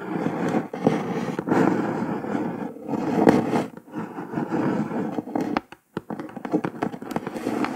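Long nails tap and scratch across the printed top of a brown kraft cardboard box, giving dry, papery scraping strokes broken by sharp clicking taps. The sound sits mostly in the low-mid range with brief bright transients, and after a short pause near the end, quick tapping resumes.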